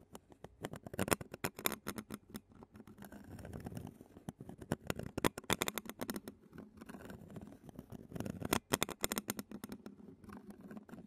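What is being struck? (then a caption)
Metal mesh microphone grille scratched and tapped with a plastic spoon. A clear plastic spoon scratches and taps the black metal mesh microphone grille of a handheld Zoom recorder, held in a long-nailed hand. Close, dense bursts of crisp clicks and scratchy rasps come in flurries, with quieter rustling stretches between them. Each tap is dry and short, with a slight low hollow body and bright crackle on top.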